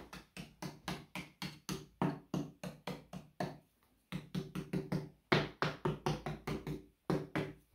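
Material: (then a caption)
Plaster. A hand knocks across the old plaster of a kitchen wall built on brick: 28 dull, low knocks in quick runs with short pauses, each dying away fast, their tone and loudness shifting from spot to spot. The plaster is loose and uneven, patched at different ages, with some already coming off just from the Hoover and damp suspected behind it, making it a candidate for stripping back to bare brick and replastering.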